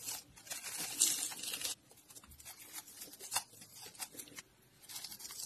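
A box-cutter blade carves and scrapes strips off the cut surface of a solid, palm-sized, mint-green bar of dry soap held in the hand. A long, bright, dry rasping scrape gives way to shorter crisp scratches and crackles. Shavings pile up while other soap crumbs lie nearby.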